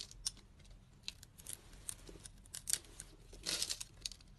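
A utility knife blade slices scored cubes off a solid, translucent green bar of soap held in the hand, cutting and scraping. Crisp, bright crackling snaps and scratchy scraping come through, with a denser, longer scrape near the end.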